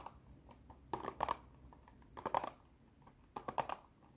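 Long nails tap on a long clear plastic blister box with cardboard backing that holds small colorful dinosaur erasers. The taps come as dry, clicky plastic ticks, mostly in three bright, crinkly bursts of quick taps, with a few soft isolated ticks between them. Each tap has a hollow tone near 860 Hz and stops almost at once.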